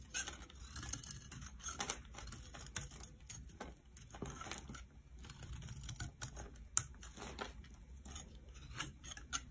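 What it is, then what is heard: Soap bar being scraped. A metal knife scrapes and slices flakes off the top of an oval, solid, blue stamped soap bar held in the palm. The result is a quiet, steady run of crisp, bright scraping and cutting strokes over a low background rumble, with a few sharper clicks standing out.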